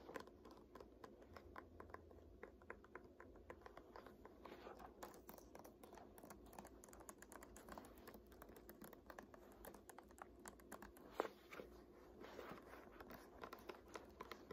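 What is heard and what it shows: Long nails tap and scratch the glossy printed paper pages of an "Art History" textbook lying open on a lap. Quiet, rapid clicky taps mix with soft scratching throughout, with one sharper tap near the 11-second mark.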